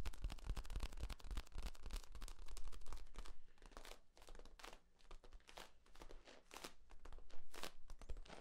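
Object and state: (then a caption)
Corrugated plastic tube. Hands squeeze and crinkle the ribs of a long, hollow, flexible yellow corrugated plastic tube held horizontally. The result is a quiet, rapid, irregular run of dry crinkling and crackling clicks, with bright snaps over a steady low hum.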